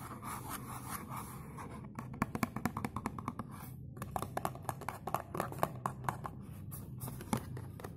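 Fingernails scratch the front of a dark blue textured cardboard perfume box, giving a soft, steady rasping texture for the first two seconds. After that it breaks into quick, sharp, dry scratches and clicks that die away almost at once. A quiet low hum runs underneath throughout.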